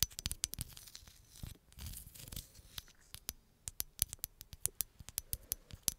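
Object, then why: Green glass bottle. Long acrylic nails tap and scratch a hollow green glass bottle, possibly on its label. Quick, bright, dry clicks come in a fast irregular series, with a softer rustling scratch in the middle. Each tap stops almost at once with no ring.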